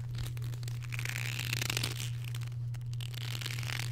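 A long dark leather belt held out between both hands is stretched and twisted with the fingers, giving a continuous run of soft creaks and crinkly rustles. A steady low hum sits underneath throughout.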